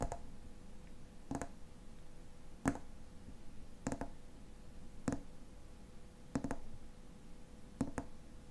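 Fingernails tap the silver metal cap of a tall frosted glass lotion bottle, making short, sharp clicks at a steady pace of about one every second or so, some landing as quick double taps. Each tap is crisp with a faint bright edge and dies away almost at once. A quiet, steady hum sits underneath throughout.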